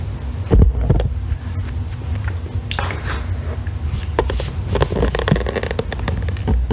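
A solid green bar of soap, gripped by long red nails, is scraped with a thin metal tool, shaving off crumbly flakes. Soft, dry scraping and brief clicks sit over a steady low rumble of handling noise.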